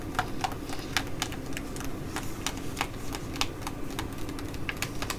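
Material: Plastic.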